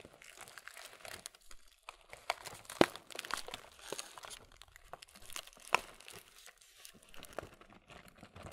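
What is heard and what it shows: The back side of a printed, laminated plastic Kellogg's muesli cereal bag is squeezed and crinkled with the thumb and fingers. It makes a steady stream of dry, bright crinkling and crackling, broken by a few louder sharp snaps.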